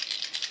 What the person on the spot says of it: hefty rattle and you can feel it in there when I'm shaking it it's moving the whole lure in my hand